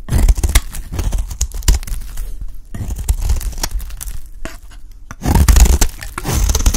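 A metal utility blade scrapes and cuts the corner of a solid rectangular purple bar of dry soap held in the hand, peeling off flakes. Rapid, dry, scratchy strokes with crisp crunches run throughout, with a quieter stretch in the middle before a louder burst of scraping near the end.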